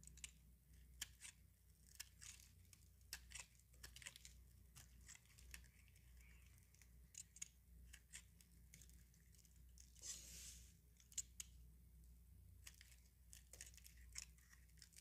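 A utility knife blade shaves thin curls off a small, solid, dry bar of soap, pale yellow with a painted red-orange outer layer, held in the palm. Repeated scraping cuts make short, crisp, bright ticks and rasps over a faint, steady low hum, with a longer scrape partway through.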